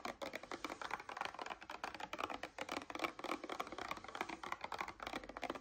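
Long nails tap and scratch rapidly on a paperboard coconut water carton held upright in both hands. The result is a dense, steady run of short, dry clicks and scratchy rustles, mostly midrange with almost no low end.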